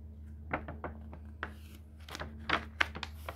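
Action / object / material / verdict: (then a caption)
scrape / paper pages of a hardcover book / paper / none. Fingertips lift, bend and turn the paper pages of a thick hardcover book, making about ten soft, dry rustles and papery flicks at an uneven pace. Each brushy sound is short, bright and quick to fade, over a steady low hum.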